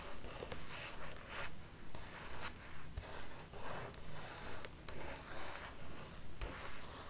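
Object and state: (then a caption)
Paper art book page. Long red nails tap and trace across the glossy paper pages of a large open hardcover art book with a printed "ART" spread, held in the hands. Quiet, steady swishing strokes repeat at a fairly even pace over a low rumble, with occasional faint bright ticks from the nails.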